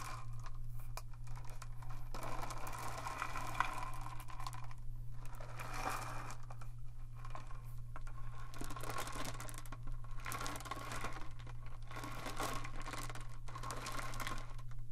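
A long clear plastic tube with a blue cap, partly filled with small smooth pebbles, is held in both hands and tilted and shaken so the stones roll and rattle inside. The result is a dense, crinkly rattling with bright, hissy bursts, brief quieter lulls around 5 and 7.5 seconds, and a steady low hum underneath throughout.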